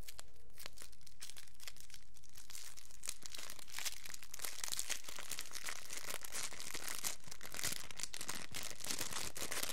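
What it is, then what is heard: Clear plastic cellophane wrapper. A small, thin, empty clear plastic cellophane wrapper is crumpled, then stretched open and crinkled by the fingertips of both hands. A dense, continuous run of sharp, bright crackles and snaps fills the clip at a steady level, growing busier after the first few seconds.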